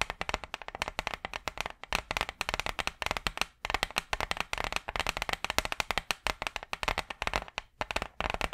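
Long purple acrylic nails rapidly tap and scratch a large, flat, brown wooden hardboard clipboard, a solid thin board held upright in front of the mic. The result is a fast, continuous stream of short, dry, clicky taps with a hollow midrange knock around 620 Hz and bright scratchy edges. Each tap dies away almost instantly, with a brief pause near the middle.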